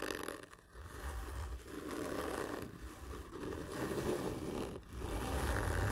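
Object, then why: Cardboard gift tube. Fingernails scratch hard and slowly along a large, hollow, black printed cardboard whisky gift tube lying horizontally, one hand scratching while the other rests on the tube. The strokes make a continuous rough, scraping rasp with a low, hollow rumble from the tube, easing briefly between passes.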